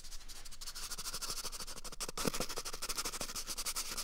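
Fingertips rapidly rub and scratch along the length of an empty, hollow brown cardboard toilet paper tube held right at the microphone. The result is a close, dry, continuous run of quick scratchy strokes with a bright papery hiss and light hollow thumps beneath.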